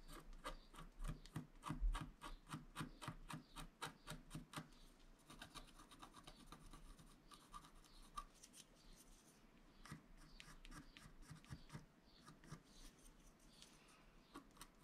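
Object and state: Scratch-art paper being scratched.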